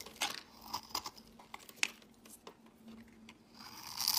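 A solid white rectangular bar of soap, held in the hand, is scraped and carved with a metal blade, shaving off crumbly flakes. A series of short, dry, bright scratches and crunchy scrapes sounds over a faint steady hum, ending in a louder, sustained scrape.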